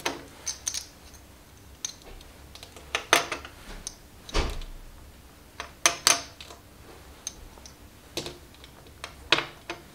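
A small stack of composite clay/plastic poker chips held in both hands is clicked and riffled together by fingers with long nails. An irregular series of sharp, bright clacks rises above a quiet background, some single and some in quick clusters. Each click is high-pitched and dies away almost at once.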